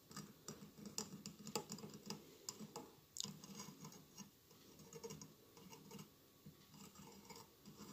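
Fingernails scratch and rub the tiles of a hollow glass mosaic votive candle holder with a lit candle inside. Quiet, dense scratching mixes with sharp, bright clicks and ticks that die away almost at once. A low rustle sits underneath.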